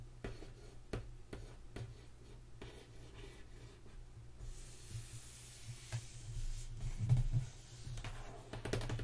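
Fingertips and long nails tap and scratch across the lid of a closed, hollow, medium-sized black corrugated cardboard BoxyLuxe subscription box from September 2019, lying on a white table. Quiet, dull taps with short decay mix with soft scratching over a steady low hum, and a brighter hiss rises midway through.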